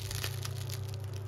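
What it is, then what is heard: Crisp-crusted baguette. A freshly baked seed baguette, just out of the oven and resting on a rack, is squeezed by hand close to the microphone. Its crust gives a quick series of dry, bright crackles and crunches over a steady low hum. The crust is crisp and well baked.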